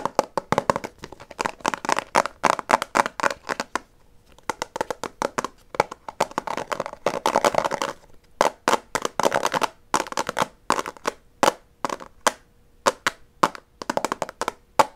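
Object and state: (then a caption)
Plastic gum container, hollow. A small hollow white plastic Extra gum box is held in the hands while fingernails tap rapidly across it and its lid is clicked. The result is dense bursts of short, dry, clicky taps with very little ring, broken by brief pauses around 4 and 8 seconds. The sound sits mostly in the midrange with a bright edge and almost no low end.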